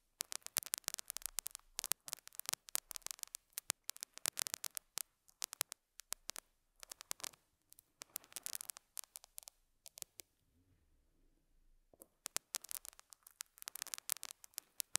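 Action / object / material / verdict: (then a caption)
scrape / felt pad scratched with a metal hook / felt / none. A metal dental scaler hook scratches and picks at a small square beige felt pad on a lapel mic. The result is quiet, bright, crackly scratching in dense clusters of sharp ticks, separated by brief silent pauses.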